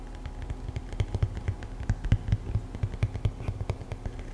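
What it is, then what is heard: Foam slide sandal, tapped with nails. A single black EVA foam slide sandal with a hollow footbed shape is held close and tapped and scratched with long acrylic nails. The result is a rapid, irregular run of soft, dull, hollow taps and faint scratches, deep and thumpy at around 105 Hz, with almost no brightness. Each tap dies away almost instantly over a low, steady background.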